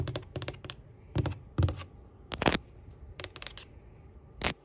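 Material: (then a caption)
Drywall. Long pink acrylic nails tap and scratch across a flat, white-painted, solid interior drywall wall. Short, dull, low-heavy taps land in quick clusters with brief scraping strokes between them, each dying away almost instantly.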